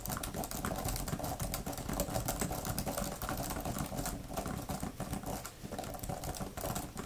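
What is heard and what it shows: Long nails type rapidly on a thin grey plastic laptop keyboard cover with flat plastic keys. The result is a dense, continuous patter of quick, dull clicks and taps, heavy in the low end with a light bright edge. It holds a steady level throughout with only brief dips.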